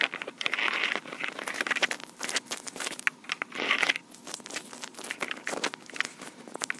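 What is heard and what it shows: Long pink acrylic nails on both hands quickly scratch and tap the body and mic heads of a small black plastic Tascam recorder. A dense, bright crackle of scraping swells and fades, broken by rapid sharp clicks, with almost no low end.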